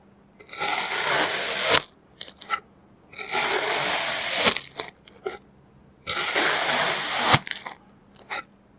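A clear plastic knife presses and scrapes a pile of orange kinetic sand flat in three long, gritty, bright crunching strokes. Each stroke is followed by a few short crisp taps and crackles before a brief silence.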